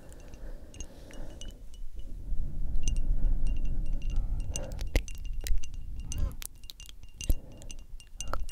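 Long acrylic nails tap a small rectangular frosted glass perfume bottle with a metal spray cap. Quick, sharp, bright clicks fall at an uneven pace over a steady low rumble, each one dying away almost instantly. A few louder taps stand out from the rest.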